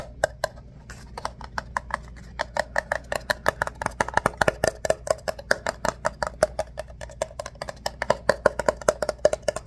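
An empty ribbed paper coffee cup is held upside down while fingertips scratch and rub its corrugated sides. About fifty short, dry, papery scrapes come in a quick, steady run, each with a crisp bright edge and a faint papery tone around 580 Hz. Every scrape dies away almost instantly, leaving a quiet background between them.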